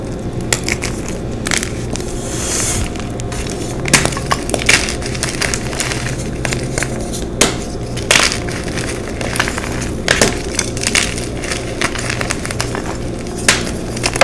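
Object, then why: Magnesium carbonate chalk block. White gym chalk blocks (magnesium carbonate) are broken apart and crushed by hand, with fingertips and long nails pressing them into flakes and powder. A steady, dry crumbling crackle runs throughout, broken by sharp, bright snaps as pieces split. A faint low hum sits underneath the whole time.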